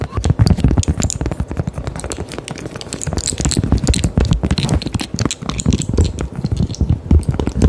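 A small, round, thin, solid cork coaster held near the mic is tapped and scratched with long, decorated acrylic nails. The result is a rapid, continuous stream of soft, dull, low-pitched taps that die away almost instantly, mixed with faint scratchy brushing.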